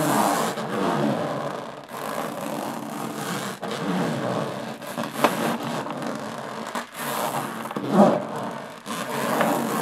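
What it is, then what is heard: Aluminum case being scratched. Long nails scratch slowly across the textured lid of a closed, hollow aluminum carry case. The result is a steady, dry rasping scrape centered in the midrange, broken by brief pauses between strokes, with a few sharper scratchy accents.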